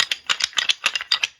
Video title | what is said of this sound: Hunters Specialties Ruttin' Buck Rattling Bag Unboxing and Review | it just kind of sounds like wood rattling together, which is exactly what it is